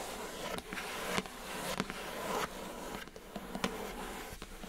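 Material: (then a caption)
Cardboard. Long acrylic nails scratch and tap the smooth top and edges of a pink rigid cardboard Glossybox gift box lid on a hollow box. A steady, dry scratching hiss is broken by short, sharp taps scattered irregularly through the clip.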